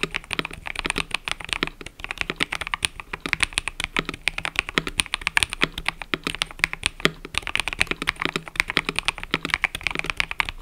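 Fingertips type continuously on a mechanical keyboard with cream and purple plastic keycaps, making a rapid, steady stream of short, dry, bright clacks with almost no ring. A faint steady low hum sits beneath the typing.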